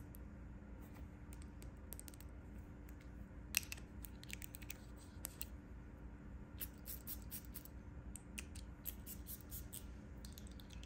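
Long painted nails tap and scratch the embossed quilted front panel near the top of a closed cream quilted faux leather handbag. Soft, scattered clicks and scratchy ticks, one sharper than the rest, sit over a steady low hum at a quiet level.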